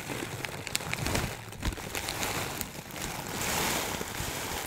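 A clear plastic bag of dry loose herbs, held in both hands, is squeezed and shifted so the contents rustle. The result is a continuous crinkling rustle with a bright, hissy texture, sharp little crackles scattered throughout, and a softer low rumble underneath.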